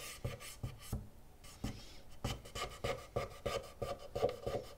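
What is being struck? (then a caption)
Plastic game console casing scraped with a cotton swab. A cotton swab is scraped repeatedly along the ribbed plastic edge grooves of a black, hollow PlayStation 2 Fat console casing while the other hand holds the unit steady. It makes a quick, somewhat uneven series of short, dry scratchy rasps with a hollow, mid-pitched plastic tone and thumpy low end. Each stroke dies away almost at once.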